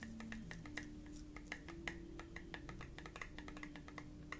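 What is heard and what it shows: Fingertips and nails tap rapidly on the lid and glass of a small, round, clear glass candle jar with a lid. The taps give quick, typing-like clicks with a bright ring near 1.9 kHz, over a low steady hum with shifting low tones underneath.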